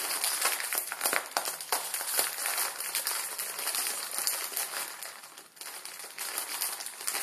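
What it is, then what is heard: Plastic instant ramen packet. A Maruchan instant ramen packet, plastic film with dry noodles inside, is held up and crinkled and squeezed between the fingers of both hands. The result is a continuous bright crackling and rustling with many quick sharp crinkles. The sound dips briefly near the middle before picking up again.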